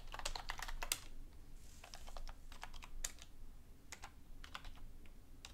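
A black full-size plastic computer keyboard on a desk, with a book lying beside it, is typed on with both hands using long painted nails and fingertips. A dense run of quick, bright clicking taps comes in the first second, then sparser, uneven keystrokes continue over a low, steady background rumble.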